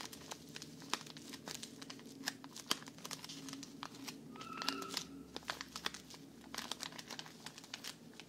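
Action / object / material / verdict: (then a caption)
shake / thin plastic bag of cotton pads / plastic / none. Fingers squeeze and crinkle a small, thin plastic bag full of cotton rounds close to the mic, producing dense, crisp, bright crackles with sharp snaps scattered throughout. Around the middle, a brief squeaky tone rises above the rustling before the crinkling continues steadily to the end.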